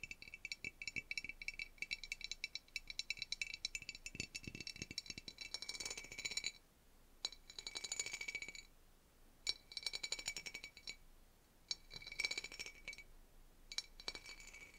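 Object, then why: Ribbed pressed-glass dish. A medium rectangular clear pressed-glass dish with ribbed relief, hollow and empty, is held in the hands and scratched and tapped over its ribs with fingertips and nails, fingers wearing rings. Dense, bright rattly clinks and scraping ticks come in busy bursts separated by short quiet gaps.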